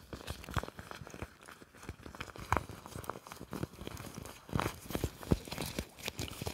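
A large, thin, clear plastic apron is worn over the body while fingertips grab, crumple and rub the loose sheet. The result is soft, continuous crinkling and crackling with many short, dry snaps and brief tearing-like rustles at an intimate, quiet level.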